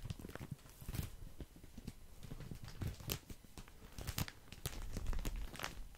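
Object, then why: Soft plastic package of cotton pads. Fingertips scratch and crinkle the soft plastic wrapping of a full package of cotton pads. Soft, rapid crackles and scratches with brief bright ticks run over a low, muffled rumble, and the crinkling grows slightly fuller toward the end.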